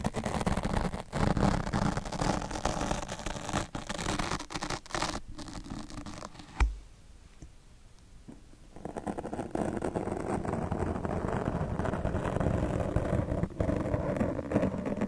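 Two steel double-edge razor blades held in the fingers scratch across a soft, porous black open-cell foam microphone windscreen, cutting slits into the foam. Dense, low-heavy scratching and scraping continues with a sharp bump near the middle. It then drops to a quieter, sparser stretch before the full rough scratching resumes.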